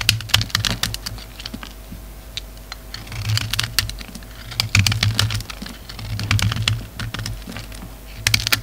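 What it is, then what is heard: Bar of soap being shaved with a knife. A rectangular solid lavender soap bar with a red coating, held in the hand, is shaved with a utility knife, producing chunks. Crisp, bright scraping clicks come in quick, irregular bursts, over a low hum that swells and fades in the background.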